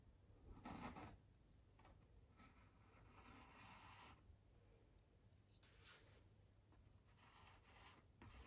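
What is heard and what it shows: A metal palette knife is drawn by hand across a medium-size stretched cotton painting canvas, taut fabric over a hollow frame, resting on a wooden easel and wet with oil paint. Quiet, raspy scraping and spreading strokes come in irregular bursts over a low, steady hum. Each stroke sounds soft and papery, bright at the edges.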